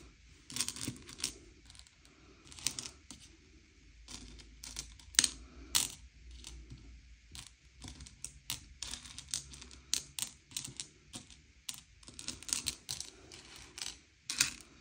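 Fingertips slide and push a pile of M&M's candy-coated chocolates, small hard sugar-shelled candies, around a grey plate, sorting them by colour. Bright, dry clicks and rattles come in quick, uneven bursts as the shells knock together and scrape across the plate, with soft, quiet pauses between them.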